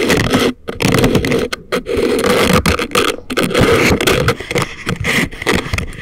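Thin wooden or bamboo ear picks, held in the fingers, scrape inside both ear canals of a pair of life-size, soft, solid, rubbery silicone ear models that serve as a binaural microphone. The result is a dense, continuous, crackly scratching with a strong low-mid body and a gritty high edge. It breaks for a few brief pauses and then resumes.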